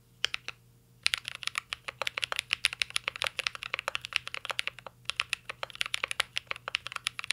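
Two hands type steadily with their fingertips on a full-size mint-green Cyberboard R3 mechanical keyboard with a metal case, plastic keycaps and Holy Panda switches, resting on a desk. A few isolated keystrokes come first, then a fast, continuous run of sharp, bright clacks with very short decay and a faint low hum underneath.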